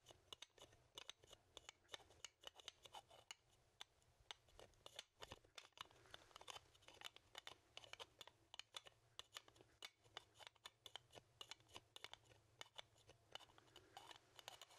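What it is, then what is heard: Small animal skull (bone). Fingertips and nails rapidly scratch and tap a small, hollow, dry animal skull made of bone, held in one hand. The result is a quiet, steady stream of bright, crisp clicks and scratchy rasps that die away almost instantly, with very little low end.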